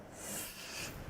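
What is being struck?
Nothing is struck.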